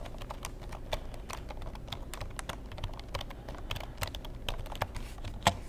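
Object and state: Plastic computer keyboard.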